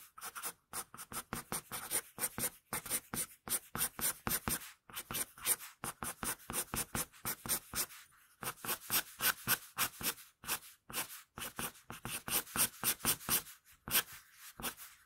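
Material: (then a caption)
Paper. A wooden pencil draws fine hair strokes on a flat sheet of paper with a scratching action. It makes a rapid run of short, bright, dry scratches, about four per second, with brief gaps between them.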